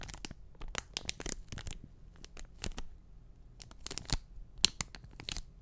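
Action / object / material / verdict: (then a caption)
scrape / enamel pin on a cardboard backing card / cardboard / none. An enamel pin on a small flat printed cardboard backing card, held close to the mic, is tapped and scratched with fingertips and short nails. Sharp, bright clicks and dry papery scratches come in quick, uneven bursts over a faint low hum, with each tap cutting off almost instantly.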